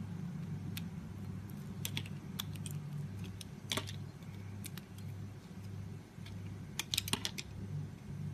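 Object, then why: Translucent glycerin soap bar. A utility knife blade scrapes and shaves the surface of a solid translucent green glycerin soap bar held in the hand. Short, sharp, bright scraping clicks come in irregular bursts over a steady low hum.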